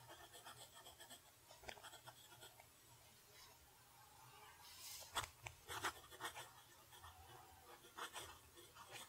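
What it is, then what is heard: Nib writing on lined paper. A steel fountain pen nib scratches across a flat lined paper sheet while writing in cursive. Soft, dry scratching strokes come in irregular bursts, with a few sharper, brighter scrapes standing out over a quiet low background hum.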